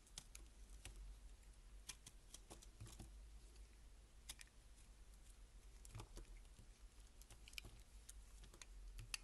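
A solid beige laundry soap bar is held in hand while its edges and face are scraped with a box-cutter blade. The result is a quiet series of short, crisp, bright scraping ticks over a steady low rumble.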